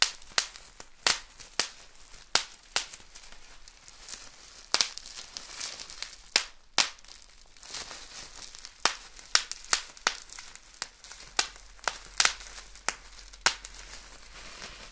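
A large sheet of thin, clear, air-filled plastic bubble wrap is held in both hands and squeezed with the fingertips to pop the bubbles. Sharp, bright pops ring out at irregular intervals over a soft, steady crinkling of plastic. Each pop is a quick snap that dies away almost instantly, with almost no low end.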